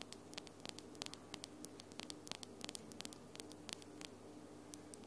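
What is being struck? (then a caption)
Acrylic fingernails. Long almond-shaped glitter acrylic nails are tapped nail against nail with both hands, producing about 28 quick, sharp, bright clicks at an uneven pace. The clicks are short and dry and sit over a steady low hum and faint hiss at a quiet overall level.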